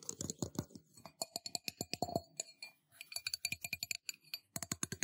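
A metal cup is tapped in quick, uneven bursts of sharp, clinking hits, each with a brief metallic ring around 680 Hz and bright high overtones. The taps die away almost at once, with short pauses between the bursts near 2.5 and 4 seconds.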